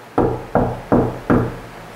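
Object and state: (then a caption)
Damped multi-layer drywall wall. Four knuckle raps on a finished section of wall built from multiple drywall layers with green glue between them, each a dull, low thud that dies away quickly. The resonance is decreased, giving a damped, solid knock.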